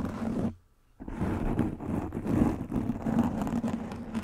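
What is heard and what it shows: Long pink nails scratch and rub a soft black foam windscreen over a microphone head, making a dense, muffled, low scraping rustle. The sound cuts out for a brief silence near the start, then the scratching resumes and continues steadily to the end.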